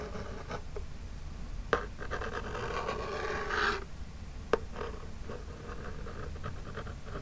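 Long jeweled nails scratch across the front of a small, flat, hollow printed Birchbox cardboard box, making a soft, dry rasping rub. The scraping swells into a louder, brighter scratch before fading. Two sharp clicks stand out, one early and one later in the clip.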